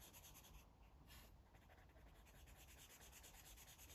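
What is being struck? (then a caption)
Felt-tip marker on a paper coloring book. A blue felt-tip marker rubs in quick, short strokes across a paper coloring book, a thick stack of white pages lying flat and solid. The result is a soft, steady, bright scratching, with a brief brighter swipe near the start, over a faint low hum.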